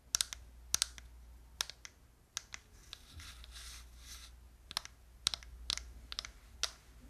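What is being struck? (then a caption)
Plastic handheld game controller. Long nails tap, click and scratch the buttons of a hollow, handheld gold plastic Wii remote with a wrist strap. Sharp, bright, very short clicks come in irregular clusters. A soft, bright scratching rustle fills the middle stretch, over a faint low steady hum.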